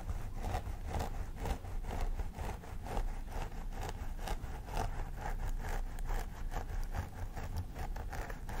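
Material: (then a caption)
Plastic. Long nails on both hands scratch along the part in the synthetic hair of a life-size plastic doll head. The result is a steady run of crisp, rasping scratch strokes, each a short bright swish over a dense low rumble, with no pause between them.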